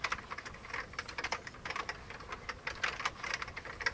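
Both hands type rapidly with their fingertips on an old beige plastic computer keyboard. The result is a dense, steady stream of light, bright plastic clicks and key taps with very little low end. Each tap dies away almost at once.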